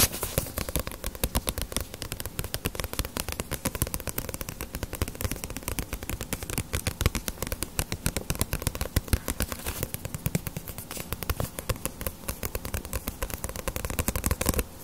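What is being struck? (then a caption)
Paperback book with glossy paper cover. A small, solid paperback One Piece manga volume, held upright in both hands, is tapped and scratched with long nails on its glossy paper dust jacket. Rapid, dense streams of short, dry taps and crackly scratches run continuously, with a dull low thump under each tap.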